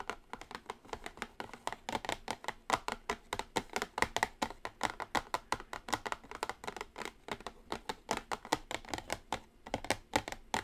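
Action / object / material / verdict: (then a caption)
tap / cardboard makeup palette box / cardboard / none. Long acrylic nails on both hands tap continuously on a small, flat, orange printed cardboard eyeshadow palette box lying on a table. The result is a steady, rapid stream of short, dry, clicky taps with a papery midrange tone centered around 900 Hz and very little low end. Each tap dies away almost instantly.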